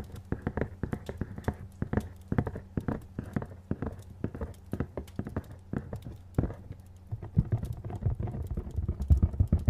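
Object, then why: Printed cardboard box. Fingernails tap and scratch on a hollow, medium printed cardboard retail box, making a rapid run of short, dull, low-pitched taps with faint scratching between them. Each tap dies away almost instantly, and the tapping grows a little louder and more uneven toward the end.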